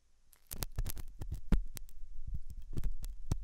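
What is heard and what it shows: A hooked metal dental tool scratches inside the ear canal of a white translucent silicone ear model made of soft solid rubber, possibly fitted on a binaural ear microphone. The sound is a run of close, muffled, low scraping and thumping bursts with brief bright clicks. It starts after a quiet half-second lead-in.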